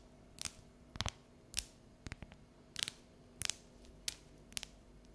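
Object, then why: Dark chocolate bar tapped with fingernails. Long neon natural nails tap and scratch the segments of a solid, unwrapped bar of dark chocolate held above a counter. About eight short, dry, bright clicks and scratches come at an uneven pace, some in quick doubles. Each stops instantly with no ring over a quiet background.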